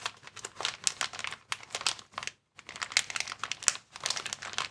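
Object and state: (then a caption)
Plastic air cushion packaging. A clear plastic air column cushion bag is held in both hands while fingers squeeze and crinkle it. Dense, bright crackling and crinkling comes in quick bursts, with a brief silent pause just before the midpoint before the crinkling resumes.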